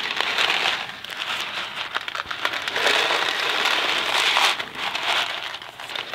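A small Kraft macaroni and cheese cardboard box filled with dry pasta is tapped with fingertips and then shaken in one hand. The pasta makes a dense, crinkly rattle in quick, overlapping bursts, bright and hissy with almost no low end. It rises and falls in surges as the shaking continues.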